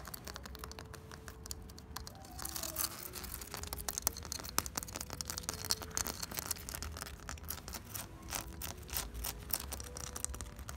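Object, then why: Hollow ribbed ceramic clay brick wall with cement mortar. Fingertips and nails scratch quickly along the grooves of an unplastered wall of hollow ribbed ceramic clay bricks laid with cement mortar. The result is a dense, bright rasping texture of rapid dry clicks and scrapes over a faint low rumble, with a soft steady tone that steps between pitches underneath.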